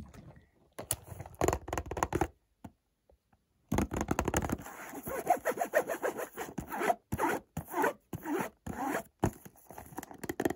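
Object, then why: Small cardboard box. Fingertips and short nails scratch and rub across the glossy surface of a small, hollow, white printed cardboard Montblanc perfume box held in one hand. Dry, rasping, zipper-like scrapes come in quick bursts, stop for a brief near-silent pause, then return as denser, faster scratching with a faint hollow tone from the box.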